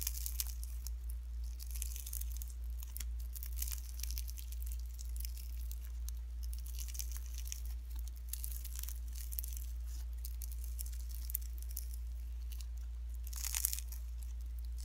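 Pink slime mixed with shredded cellophane is stretched and squished between fingertips, giving a steady stream of bright, crinkly crackles and soft sticky squelches. The texture stays dense and irregular throughout, with a few sharper crackling bursts, the loudest near the end, over a low constant hum.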